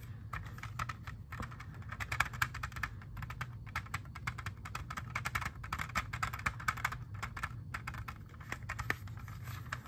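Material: Plastic.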